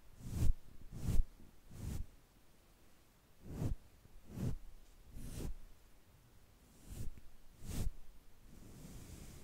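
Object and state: Nothing is struck.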